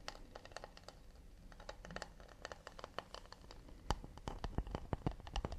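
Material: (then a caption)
Wood. Fingertips and nails tap quickly and lightly scratch the underside and rim of a round, shallow acacia wood plate. Rapid, dry clicks sound with almost no ring over a faint low rumble and soft scratchy texture. The taps get sharper and louder toward the end.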